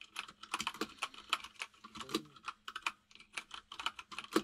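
Both hands type rapidly with their fingertips on a white full-size mechanical keyboard with plastic keycaps resting on a desk. Around twenty crisp, bright clicks come in quick, uneven bursts, each dying away almost at once, with no low thump beneath them.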